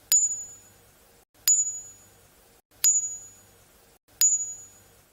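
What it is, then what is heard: Ringing unfractured jadeite bangle. A natural jadeite jade bangle hanging on a string is tapped four times with a harder object. Each tap gives a clear, high, bell-like ping that rings briefly and fades. The clean ping is a sign of unfractured natural jadeite.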